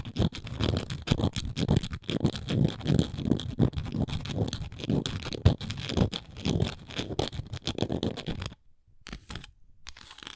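Long nails scratch across the engraved surface of a round, flat wooden coaster held in the hand. The result is a dense run of rapid, rough scratching bursts, heavy in low rumble with a faint bright edge. It drops to quieter, sparser scratches with short silences near the end.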